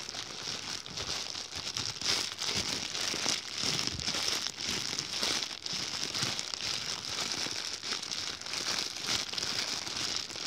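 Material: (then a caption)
Plastic. An empty, white, thin plastic bag is crumpled and rubbed between fingers close up, giving a steady stream of bright, dense crinkling and crackling. The sound is mostly high with almost no low end, swelling and easing in irregular bursts throughout.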